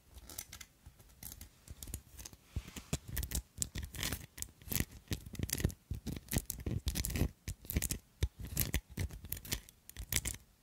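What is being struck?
Metal filigree-covered glass perfume bottle.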